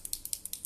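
A black liquid eyeliner pen is shaken so the small mixing ball inside rattles, as it should be before use. Seven quick, sharp, high-pitched clicks come in a steady back-and-forth rhythm, each dying away almost instantly.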